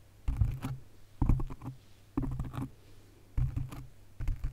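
Long nails rapidly scratch and tap a black foam windscreen on a condenser microphone. Five bursts of dense, muffled scratching and patter stand out from a quiet background. The sound is heavy in deep low-end thumps, with only faint brighter crackle.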